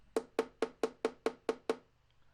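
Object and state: Violin body tap tone.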